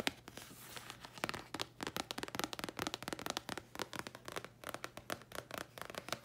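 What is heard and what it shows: A thin red printed paper card held close up is tapped and scratched with long nails. The result is a quick run of dry, crisp clicks and brief scratchy rasps with a bright edge and almost no ring. A softer scratching passage comes first, and the taps then come in rapid, uneven bursts.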